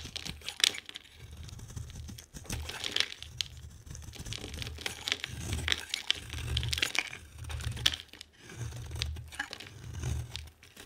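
A metal knife blade scrapes a solid oval yellow bar of soap held in the hand, peeling off thin curls. Repeated crisp, dry scraping strokes give bright crinkly and tearing textures over a soft low rumble, each pass fading quickly into the next.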